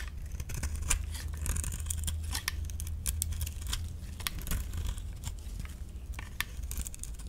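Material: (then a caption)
Soap. A metal utility-knife blade shaves flakes from the face of a solid orange dry soap bar held in the palm, in repeated scraping strokes. Each stroke gives a short, dry, bright scrape with almost no ring, over a steady low hum.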